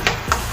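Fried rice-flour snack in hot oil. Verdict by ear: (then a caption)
Done. Fried sakkinalu, a rice-flour snack, are tapped twice while still in the hot oil to check that they are done. The two quick taps give a slightly hard, clicky sound over a steady sizzling hiss, showing the snacks are fully fried through.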